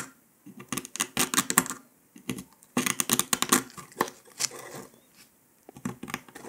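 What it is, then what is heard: Dalgona sugar candy being scratched. A metal needle scratches along the line of a brittle brown dalgona honeycomb sugar candy disc resting on paper, then lifts away near the end. The result is bursts of dry, bright, crackling scratches with short, sharp clicks, separated by brief quiet pauses.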